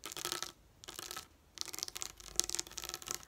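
Long nails tap and scratch a sheet of raised plastic pop-up dot stickers lying on a table. The result is bright, crackly plastic clicking and scraping in three bursts, separated by short quiet gaps, with almost no low end.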